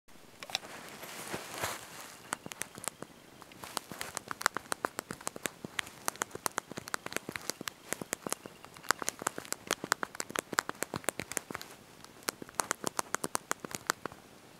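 Thumbs and fingertips press and tap the small backlit plastic keys of a handheld slide-out mobile phone's QWERTY keyboard while typing a message. Dozens of quick, sharp, bright clicks come in uneven bursts with almost no low end. A softer rustling wash is heard near the start.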